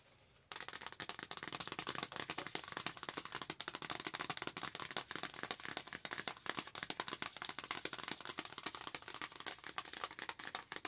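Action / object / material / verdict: tap / small flat cardboard palette box / cardboard / none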